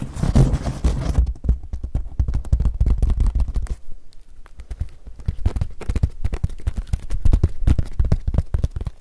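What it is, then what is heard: Woven straw hat. A woven straw sun hat is squeezed, twisted and rubbed by both hands, producing dense crackling. A loud, rough rustle at the start breaks into rapid, sharp crackles and clicks, easing off briefly in the middle before building back up toward the end.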